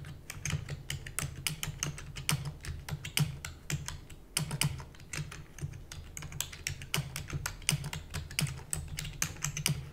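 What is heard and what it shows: Rapid typing with fingertips and long natural nails on a full-size black plastic computer keyboard with plastic keys and a hollow housing. It makes a dense stream of short, bright clicks and clacks that die away almost instantly, over a steady low hum throughout.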